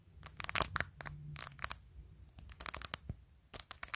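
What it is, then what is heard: Phone case covered in acrylic press-on nails. Long acrylic nails tap and scratch across colorful, hollow acrylic press-on nail tips glued to the back of a clear plastic phone case on a phone held in one hand. Bursts of sharp, bright clicks alternate with scratchy, crinkly rasps. Each tap stops dry, with no ring.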